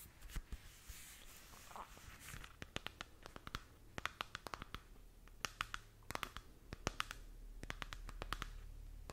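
A glowing spherical moon lamp with a textured plastic shell, about hand-span size, is held in both hands and scratched with long nails. Quick, sharp clicking taps and scratchy bursts come in irregular clusters over a soft airy hiss and a faint low hum.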